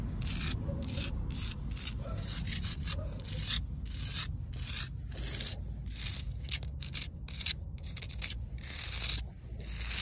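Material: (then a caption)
Concrete. Long acrylic nails scratch across a rough, solid outdoor concrete slab in a steady run of short, gritty rubbing strokes. The scrapes are bright and hissy over a constant low rumble, with brief gaps between strokes.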